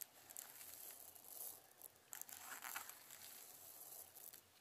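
A round clear plastic jar full of small colorful plastic perler fuse beads is held in one hand while fingertips dig into and stir the beads. This makes a soft, bright, rustling and crunching rub that swells and fades in uneven waves. Near the end the jar is tilted.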